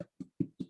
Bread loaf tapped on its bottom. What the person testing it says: you turn it upside down and you tap it but you can hear it a bit